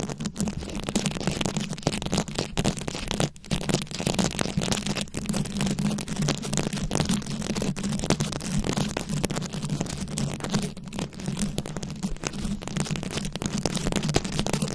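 Long acrylic nails scratch and tap across a fist-sized microphone head fully covered in small glued-on rhinestones and beads. The result is a dense, continuous crackling and scraping with many quick clicky taps over a steady low hum. The sound stays close and even throughout.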